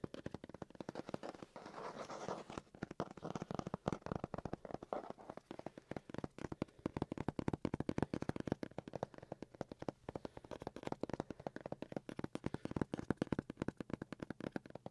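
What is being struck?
Cardboard box.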